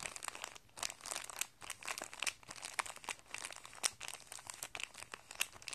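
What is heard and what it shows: A small flat clear plastic guitar string packet, holding a printed paper card and coiled metal guitar strings, lies on carpet while a flat hand and fingertips rub and press it. It gives off soft, continuous bright crinkling with many quick, sharp crackles that die away almost instantly, over a faint low hum.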